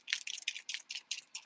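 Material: Plastic.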